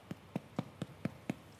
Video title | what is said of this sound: Miele kocht - Brot und Brötchen aus dem Backofen und Dampfbackofen | ihr hört, ob es fertig ist, am Klopfen. Und wenn es sich hohl anhört, dann ist es fertig.